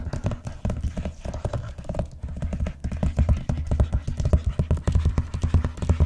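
Long nails tap and scratch the cover of a large, closed, blue vinyl-covered binder lying flat on a box, working near its edges. Quick, dull, low taps come in a steady rapid run with no ring, mixed with soft scratching, and they grow a little louder toward the end.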